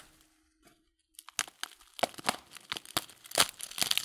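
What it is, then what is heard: Paper tea packet crinkled. The folded top of a filled paper loose-leaf tea packet is rubbed and crinkled between fingers. After a near-silent start, a run of sharp, bright crinkles and crackles builds up, dry and short with almost no low end.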